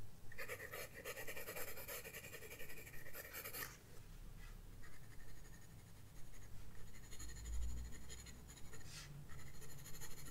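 A graphite pencil scratches strokes across a flat paper sketchbook page, with a dense burst of bright, rasping scribbles for the first few seconds. Shorter, lighter strokes follow over a faint low rumble.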